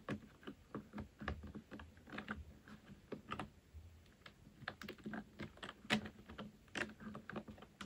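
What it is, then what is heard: Plastic computer keyboard typing. Both hands type with their fingertips on a full-size black plastic computer keyboard resting on a wooden desk. A steady stream of quick, sharp plastic key clicks comes with the occasional louder stroke. Each click dies away almost at once, over a faint low hum.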